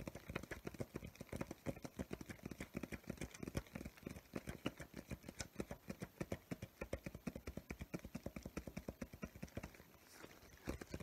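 Fingertips and nails tap quickly on the paper surface and edges of a medium spiral-bound paper sketchbook, a solid stack of pages with a crayon drawing, held upright in both hands. A rapid, uneven run of about seventy short, dry taps sounds, mostly dull and low with faint bright clicks, each dying away almost at once. The tapping briefly softens near the end before a few firmer taps close it out.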